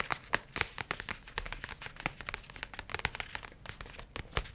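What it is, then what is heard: Leather tablet case, tapped. A dark leather folio tablet case with a strap clasp is held in both hands and tapped quickly with the fingertips and nails. The result is a rapid, irregular run of crisp, dry clicks and soft thuds with bright, papery highs and almost no ring after each tap.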